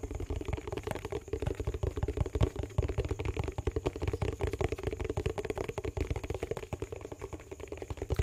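Fingertips and nails rapidly tap and scratch the lid and sides of a small, round, hollow yellow plastic tub with a lid, a Sparkle dishwash bar container, held in the hands close to the mic. The result is a steady, dense patter of soft, dull, low-heavy thumps and scratchy clicks that blur together, with a faint high hiss underneath.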